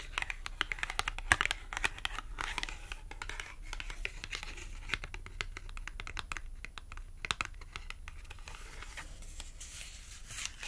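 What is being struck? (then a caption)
Thin cardboard clothing tag. Long acrylic nails scratch and tap the face and edge of a small, thin, flat green matte cardboard clothing tag. A dense run of quick, dry clicks blends with papery scratching and crinkly rustle, mostly bright and crisp over a faint low rumble. Each tap dies away at once, with no ring.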